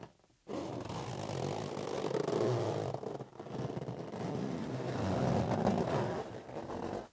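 Fingertips rub and tap a green, hollow, inflated latex rubber balloon held in one palm. A dense, scraping, rubbery friction sound with a low, warm body runs in two long passes, separated by a brief dip in the middle.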